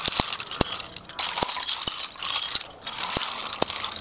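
Bare fingertips stir and shuffle a large heap of small, hollow, empty snail shells on a concrete floor, making them clatter against each other. A dense, bright rattling runs throughout, with sharp, short clicks standing out above the steady chatter of the shells.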